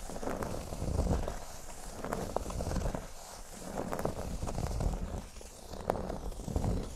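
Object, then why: Cork board. Fingertips and short nails scratch slowly along the upper surface of a large, flat, solid cork board shaped like a speech bubble. The result is soft, low, rustling scrapes that swell and fade in waves, with a few brief crisp ticks as the nails catch.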